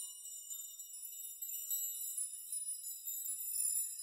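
A steel nail chime made of many long hanging steel nails is grasped and pushed by hand, rocking and shaking so the nails clink together. The sound is a quiet, continuous bright metallic tinkling with overlapping ringing tones and no low end.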